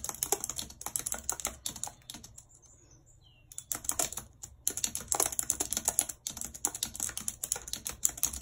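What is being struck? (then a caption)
Plastic computer keyboard. Long red nails tap the keys of a white plastic computer keyboard in continuous typing, giving rapid, bright, clicky taps with almost no low end. The typing pauses briefly after about two seconds, leaving near silence, then resumes in dense bursts until the end.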